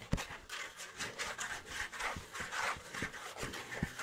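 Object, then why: Thin kraft cardboard sheet. A thin, flat sheet of tan kraft cardboard (or a kraft paper envelope), held up near the face, is scratched with fingernails. It makes dry, rasping scratch strokes in a steady rhythm, with a bright papery hiss over soft low thumps where the nails catch.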